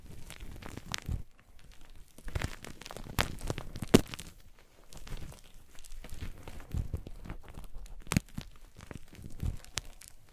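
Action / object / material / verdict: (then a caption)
scrape / chunks of gym chalk / magnesium carbonate / none. Chunks of gym chalk (magnesium carbonate) are crushed and squeezed in both fists over a pile of white chalk powder. The result is a steady run of soft, dull crunching and crumbling crackles, mostly low in tone, with brief brighter snaps standing out, the sharpest near the four-second mark.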